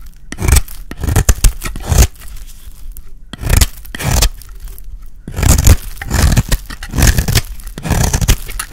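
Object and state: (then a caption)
Dry soap bar being shaved. A solid, oval, peach-colored bar of dry soap is held in the hand and scraped into thin shavings with a utility blade. Repeated rough, crackling scraping strokes come in bursts with brief pauses between them, heavy in low rumble with a dry, gritty texture.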